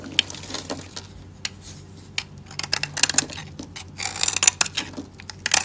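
A solid, dry light-blue soap bar held in the hand is scraped and carved with a metal utility blade, and chips fall away. Short, bright, crisp scraping and crackling strokes come in irregular bursts, growing denser and louder toward the end over a faint low hum.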